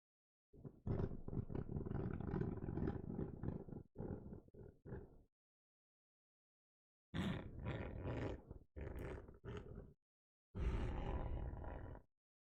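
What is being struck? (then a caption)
Book spine. A book's spine, made of a different material than its cover, is scratched in three bursts separated by short silences. The scratching is a rough, dense rasp weighted toward low frequencies.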